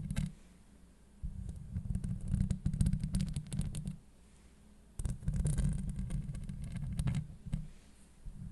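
Long acrylic nails on both hands scratch a hollow steel mesh microphone grille. They make deep, rumbling, scraping bursts, with nearly all the energy low in the bass and only faint bright crackle above. Quiet pauses near the first second, from about 4 to 5 seconds, and again near the end separate the dense scratching stretches.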